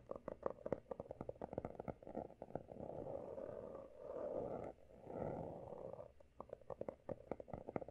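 Fingertips and nails tap and scratch the solid, pale blue embossed cover of a closed textured hardcover notebook. Quick dry taps open and close the clip, with a steady, brushy scratching in the middle that swells and fades in a few strokes. The sound sits mostly in a warm midrange with little deep or high content.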